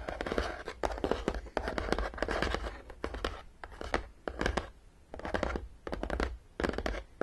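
Long fingernails scratch and tap across the top of a long, printed, hollow and closed cardboard Battleship game box. The result is a dense run of short, dry clicks and raspy scrapes in uneven bursts, with no ring after each tap, over a faint low hum.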